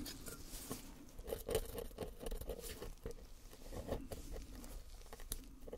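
Gloved hands scrape the chipped corner of a small solid plaster bar painted gold with a flat wooden or clay sculpting tool, and plaster powder falls off. The sound is a quiet, continuous gritty patter of short crackly scrapes and ticks, weighted toward the low end, with a faint steady tone around 440 Hz.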